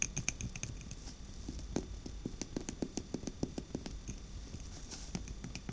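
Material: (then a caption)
Glass. A glass jar candle filled with orange wax, with a glass lid, is held in the hands and tapped with long black-painted nails. The result is a quick, irregular run of sharp, bright clicking taps that die away almost instantly, over a soft low rustle.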